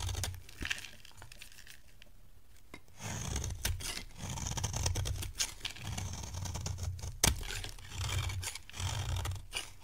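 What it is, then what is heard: Dry soap bar being scraped. A metal box-cutter blade scrapes a dry, beige oval bar of solid soap held in the hand. Dry, rasping shaving strokes come in bursts, with bright, papery scratching over a low rumble and a few sharp clicks, one especially loud near the end.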